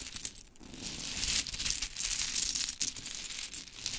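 Hands with long chrome nails gather and rub a pile of pink wooden mini clothespins into a heap on glitter fabric. The result is a steady, bright, crinkly clatter of small wooden clicks and scraping with no pauses, dipping briefly near the half-second mark before rising again.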